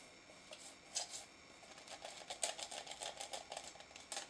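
Fingertips and nails tap and scratch the side and lid of a small pink translucent plastic tub of noise putty, full of pink putty and held in the hand. About a dozen quiet, crisp clicks and scrapes sound bright and hollow with a faint mid-range knock, each dying away almost at once.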